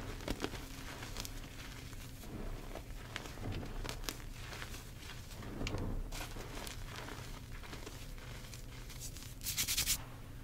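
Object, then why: Pile of crushed gym chalk powder. Bare fingertips and palms dig into, squeeze and rub a large mound of loose pink crushed gym chalk (magnesium carbonate) powder and crumbs in a tray. The sound is a steady soft crunching and crinkling rustle with a low rumble underneath. Scattered bright crackles stand out, and a louder burst of gritty crumbling comes near the end.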